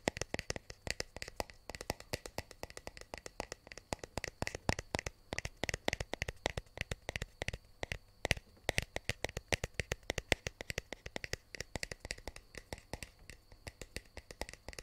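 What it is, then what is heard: Cardboard box tapped and scratched. Fingertips and nails tap and scratch the faces and edges of a small, hollow white cardboard earbuds box held in one hand close to the mic. The result is a rapid, steady stream of sharp, dry, bright clicks and taps with a hollow low thump beneath them; each one dies away almost instantly.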